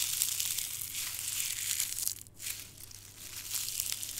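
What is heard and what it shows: A small, brittle, dark red dried rose head is squeezed and crushed in a bare hand with the fingertips, sending petal fragments onto a green surface beside an untouched floral foam block. The crushing gives a dense, bright, crackling crinkle with almost no low end. It runs steadily, dips into a brief near-silent pause around the middle, then resumes more softly.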